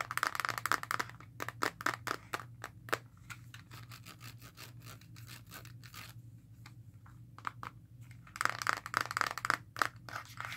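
Long nails tap and scratch the black plastic back of a Nintendo Switch handheld console with orange Joy-Con, held in both hands. Quick bursts of crisp, bright plastic clicks open the clip and return near the end. Between them is a long stretch of softer, steady scratching over a faint low hum.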